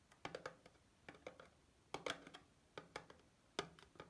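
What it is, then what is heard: Cardboard soap box. Long painted fingernails tap and scratch a small, closed white Dove soap bar box made of thin cardboard, still holding the bar, held over a sink. Quiet, dry, hollow papery taps come in quick clusters of several clicks, with a mid-pitched box tone and bright, crisp edges. Each tap dies away almost at once.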